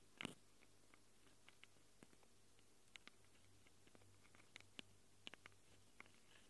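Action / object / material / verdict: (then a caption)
scrape / Handheld recorder microphone capsules, plastic and metal / plastic, metal / none. Long acrylic nails scratch and tap on the microphone capsules of a small handheld Tascam recorder with a plastic body and metal-rimmed capsules. Sharp, bright clicks and scrapes stand out sparsely over a steady low hum, with a louder burst of scratching near the start.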